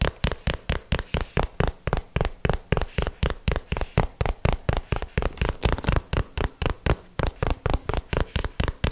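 A small, hollow, printed cardboard box held by the microphone is tapped with fingertips and nails in a quick, uneven run of 36 taps. Each tap is a short, dull, low-pitched knock that dies away almost instantly.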